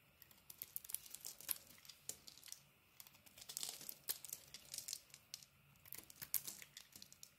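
A hand-held solid pink-and-cream bar of soap is carved with a utility-knife blade that scrapes off shavings. Quiet, dry, bright crackling scrapes and crisp crinkly snaps come in quick irregular bursts, with almost no low end and no ringing after each cut.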